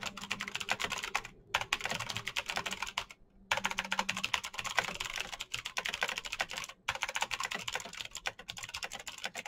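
Fingertips type fast across the RGB-lit keycaps of a black plastic mechanical keyboard with clicky green switches, held still on a desk. A rapid stream of sharp, bright clicks with very short decay runs through the clip, broken by a few brief pauses near 1.5, 3.3 and 6.8 seconds.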